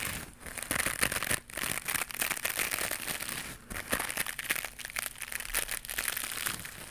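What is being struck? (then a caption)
Knitted plastic mesh scrubber pad. A small white knitted mesh scrubber pad, held in both hands, is scratched and squeezed with long pink nails. It makes a dense, bright, crinkly scratching that runs almost continuously, with a few brief dips in level.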